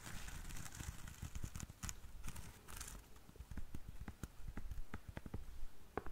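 Long nails scratch the braided jute sole and the lace of a black lace espadrille held sole-edge forward. The result is a quiet, irregular run of dry, crackly scratches and short ticking strokes, with low rustle underneath and brief bright clicks.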